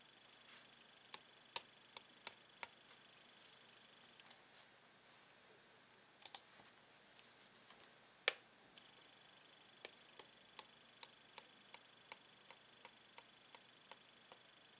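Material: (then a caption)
Plastic. A metal pen tip taps on the clear hollow plastic blister sealing a toy pen onto a yellow cardboard backing card, which lies flat on a table while a gloved hand holds it. About 21 quiet, sharp, bright plastic clicks are heard, each dying out almost instantly, with brief soft rustles between some taps and a faint steady tone near 3 kHz in the background.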